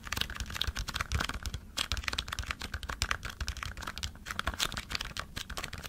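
A small green cardboard stock cube box is held upright while fingertips and nails rapidly tap and scratch its sides. The result is a fast, uneven stream of dry, crisp clicks and scratchy rustles over soft low thuds, with each tap dying away almost at once.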